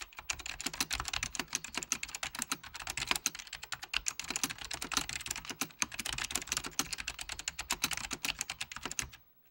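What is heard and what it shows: Fingertips of both hands type rapidly on a full-size beige plastic Apple Extended Keyboard II with mechanical key switches. They produce a steady stream of sharp, bright clicks and taps with very little low end and almost no ring. The typing runs continuously for about nine seconds, then stops into silence.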